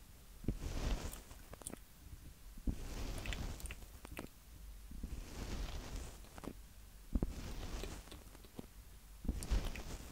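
Fingertips of both hands tap quickly on the two mic capsules at the top of a small black plastic handheld audio recorder, a hollow Tascam DR-05X. Close, muffled low thumps come in bursts, with sharp knocks and soft scratchy rustling between them.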